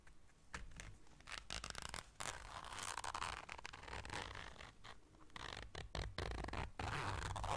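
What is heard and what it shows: Long dark nails zip and scratch a small round black fabric zipper case held in the hands. Dense, rasping scratches and zipper runs come in quick, uneven bursts with brief pauses, bright and papery over a steady low rumble.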